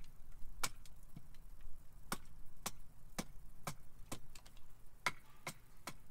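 A carving axe repeatedly chops a solid split cherry wood spoon blank held upright on a chopping block to shape its underside. Each chop is a short, sharp knock with a bright crack and almost no ring, spaced irregularly over a low background rumble.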